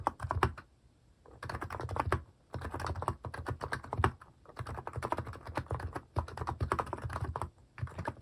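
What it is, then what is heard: Plastic mechanical keyboard. Fast fingertip typing on a compact Hanmumu mechanical keyboard with a white plastic case and cat-themed plastic keycaps. Rapid runs of short, clacky key taps with a deep thocky low end come in bursts separated by brief pauses. Each tap dies away almost instantly.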